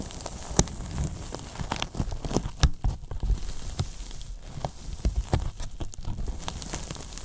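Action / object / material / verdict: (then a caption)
scrape / polyethylene foam box / polyethylene foam / none. Fingertips and palms press, rub and scratch the top and sides of a large, hollow white polyethylene foam box. Dense crackling, squeaky and scratchy textures mix with soft, deep hollow thumps. Short, sharp peaks of bright crinkling stand out, with the loudest near the start and middle.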